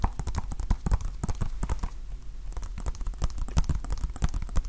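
A small hollow plastic Nintendo Switch game case is held in both hands and tapped with fingertips and nails. The result is a rapid, irregular run of short, dry clicks: bright nail ticks over soft, hollow low thumps, each dying away almost at once.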